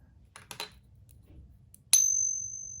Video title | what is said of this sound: Fake Eagles from eBay - user caught, reported, and was fully refunded | that's some kind of like brass material. So that is the fake one.